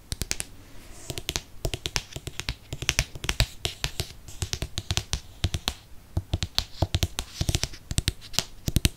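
Fingernails tap rapidly on the cover of a Harry Potter and the Chamber of Secrets hardcover book held up close. The result is a fast, uneven stream of short, dry clicks with a low thud under each, and almost no ring.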